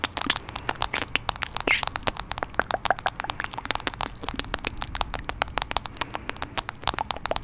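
A hand-sized, solid smartphone in a light blue plastic protective case is held right at the microphone and tapped and scratched with fingertips and nails. A rapid, dense stream of sharp, dry clicks and scratchy crackles sounds bright, with almost no low end. Each tap dies away instantly with no ring.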